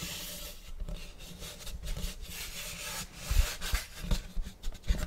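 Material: Wood.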